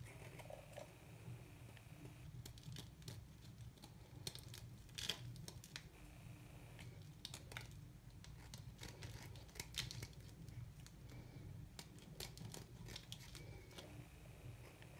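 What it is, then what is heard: Very dry, hard soap being cut. A small metal knife shaves small bits off a hard, dry white piece of soap held between the fingers. The cuts come as quick, dry, crisp clicks and scrapes with a bright edge. Beneath them runs a steady low hum.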